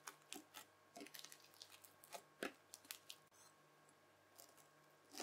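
A mound of red bubbly slime is folded, then pressed with the tines of a white plastic fork, giving quiet, bright crackles and wet squishes. Many short, distinct pops and crunches sound through the clip over a steady low hum. The loudest cluster comes just before the midpoint, and the clip ends on a rising crackle.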